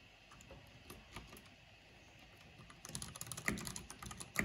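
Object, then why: Plastic keyboard keys. Fingertips and long painted nails tap quickly on the keycaps of a full-size black plastic mechanical computer keyboard with purple RGB backlighting. Soft, scattered clicks come first, then the typing turns faster and louder, with bright, short, sharp clacks that stop almost at once.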